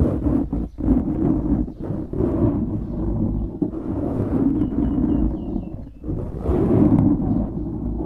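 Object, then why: Foam microphone windscreen. Fingertips scratch and squeeze a black foam windscreen on a microphone, making dense, muffled rustling and crackling that swells and dips. The sound is mostly low and midrange with little high content, with brief quieter gaps near the start and around six seconds.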